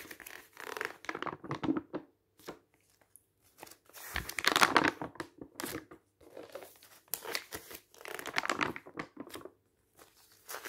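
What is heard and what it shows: Fingers turn the pages of a thin newsprint paper booklet lying open on a table, then a palm smooths them flat. The result is irregular bursts of dry, crinkly rustling and brief tearing-like swishes with bright edges, separated by short quiet gaps.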